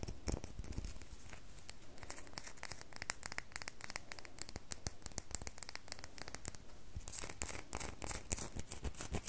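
Long fingernails tap rapidly on a solid red bar of soap. The taps are a quick run of short, dry, sharp clicks with bright, scratchy edges. They die away almost instantly over a faint low hum, and grow denser and brighter toward the end.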